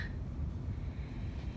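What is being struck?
Nothing is struck.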